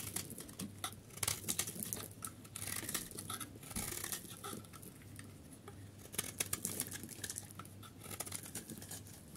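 A solid, dry yellow soap bar held in the palm has its edges scraped and shaved with a utility knife blade, breaking off crumbly flakes. It makes a steady run of short, dry, bright scraping and crackling strokes over a faint low hum.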